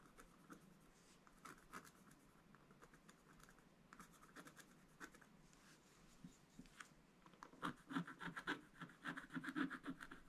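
A wooden stylus, held upright, scratches the ship area of a black-coated scratch-art paper page while the other hand rests on the left page. Quiet, dry scratching strokes come sparsely at first, then grow denser and louder over the last few seconds as a rapid, uneven run of short raspy scrapes with brief bright edges.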